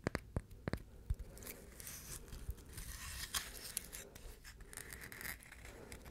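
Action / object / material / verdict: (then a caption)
scrape / coconut shell half / coconut shell / none. A brown, hollow, dry, hand-sized coconut shell half is held in both hands and scratched and tapped with the fingertips and nails. Sharp, dry taps with a low knock open the clip, then give way to a steady, rough scratching with bright, hissy streaks and occasional clicks. The hits die out almost instantly with no ring.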